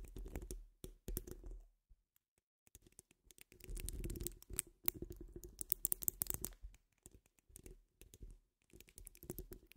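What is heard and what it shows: Long nail tips tap and scratch across a hollow metal mesh microphone dome, making quiet, irregular bursts of dense crackling and tapping separated by short silences. Each burst carries a deep, thumpy low rumble with a thin, bright scratchy edge, and the taps are dry with almost no ring.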